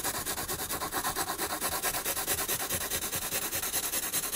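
A graphite pencil held in the fingers shades a penguin drawing on a spiral-bound paper sketchbook resting on a wooden desk. It makes quick, steady back-and-forth strokes of bright, hissy scratching and rubbing across the paper, with little low end.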